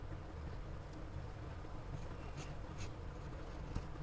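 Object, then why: Paper sketchbook page under a graphite pencil. A gloved hand draws light circles with a graphite pencil tip on a large white spiral-bound sketchbook page lying flat on a pad, with a lav mic resting untouched on the page nearby. A quiet, steady scratching stroke sits over a low rumble, with a few faint bright ticks.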